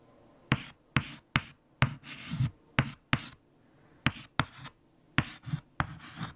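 Fingertips hold a white chalk stick and write letters on a large, flat, solid black chalkboard. Eleven sharp, bright taps of the chalk striking the board are heard, each followed by a short dry scratching stroke, with brief quiet pauses between groups of strokes.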